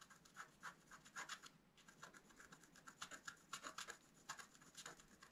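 A wooden stylus scratches fine lines into a flat, black-coated scratch art card. Quiet, irregular bursts of short, dry scratching come in quick succession, with a bright, raspy hiss centered in the upper mids and almost no low end.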